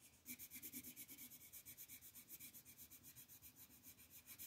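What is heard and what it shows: A dark green wooden colored pencil is rubbed quickly back and forth across a flat printed paper coloring sheet on a table to fill in leaves. It makes a steady, bright, scratchy shading sound in rapid, evenly pulsing strokes, with little low end.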